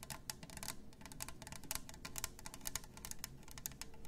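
Long nails tap and scratch the sides and lid of a hollow, double-walled plastic glitter tumbler. The result is a quick, uneven run of short, bright clicks and scraping ticks. Underneath, a faint low hum stays steady throughout.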